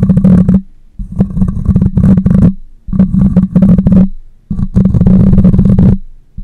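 Long nails scratch the side and top of the metal mesh grille on a black condenser microphone. The result is a dense, boomy rumbling scrape with a steady low hum, coming in several sustained bursts separated by short quiet gaps.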